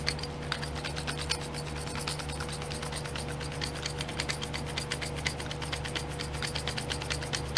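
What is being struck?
Small plastic glitter pots in a plastic tray.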